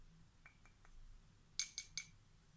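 Small solid light-wood picture puzzle cubes printed with animals, held in one hand with long painted nails, are tapped and scratched with a long, thin, tarnished stick-like tool held in the other. A few faint light taps are followed by three sharp, bright wooden clicks that die away almost instantly, over a quiet low hum.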